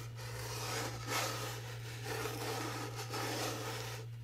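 Fingernails scratch and rub the rough teal glitter paper of a small rectangular cardboard gift box, whose lid reads "HOORAY" with a red rim and whose side has a confetti print. A continuous dry, raspy scraping swells and eases in waves, with bright gritty texture over a steady low hum.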